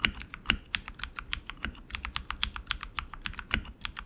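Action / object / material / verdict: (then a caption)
tap / mechanical keyboard, plastic keycaps on metal frame / plastic / none. Both hands type continuously with their fingertips on a tenkeyless RGB mechanical keyboard with tactile switches and plastic keycaps on an aluminum frame. The result is a steady stream of short, bright clicky keystrokes, about 26 in four seconds, with a few louder, deeper key strikes and almost no ring after each hit.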